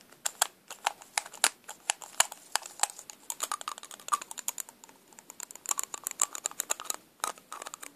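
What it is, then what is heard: Plastic lipstick case. Long pink nails tap and click on a small, hollow black plastic lipstick tube with a clear plastic cap. The result is a rapid, irregular stream of sharp, bright clicks with no low end and almost no ring, with brief lulls near the middle and toward the end.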